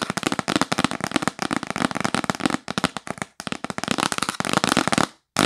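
Fast tapping with long acrylic nails on a hollow, yellow printed cardboard gift box held upright gives a dense stream of sharp, dry clicks with a hollow body and almost no ring. The taps run nearly continuously, with brief pauses near the middle and a short silence just before the end.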